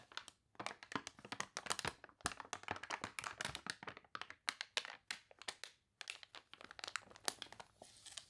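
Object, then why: Thick glossy paper catalog pages. Long nails scratch and pages turn in a thick, glossy paper toy catalog whose pages are wrinkled from water. Dense, crisp crinkles and crunches come in rapid bursts, bright and dry with almost no low end. Each sound cuts off sharply, with short quiet gaps between the flurries.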